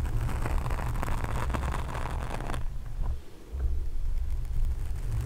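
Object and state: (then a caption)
Foam microphone windscreen. Long nails tap and scratch the sides of a black foam microphone cover with both hands. A dense, muffled low rumble runs throughout. Bright, scratchy crackling fills the first half before cutting out, and the low thumping briefly dips, then returns.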